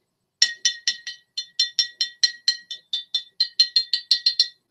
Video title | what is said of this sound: Royale Club vs. Club 400 | I like to tap the bottle because it sounds nice.